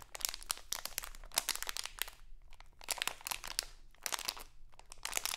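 A small, printed, crinkly plastic Halloween candy bag is held in both hands and crinkled and scratched with long acrylic nails. Quiet, bright, crackling crinkles come in dense bursts with brief pauses around the middle and near the end. Each snap dies away almost instantly.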